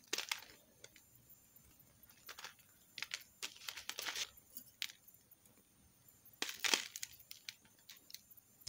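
A metal knife scrapes chips off the surface of a solid green soap bar held in the palm. Short, crisp, bright scraping bursts come in irregular clusters, separated by quiet pauses, and each one dies away almost instantly with no low-end body.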